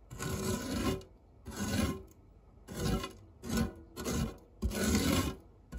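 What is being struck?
Metal tart tin scraped with a silicone spatula.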